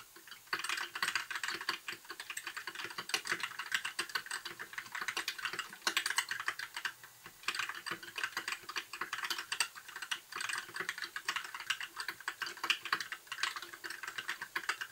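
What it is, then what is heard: Plastic mechanical keyboard. Fingertips of both hands type continuously on a compact white mechanical keyboard with backlit plastic keycaps. The result is a steady stream of short, crisp clacks with bright treble and no low-end thump. Each keystroke dies away almost instantly, with a few louder strokes standing out.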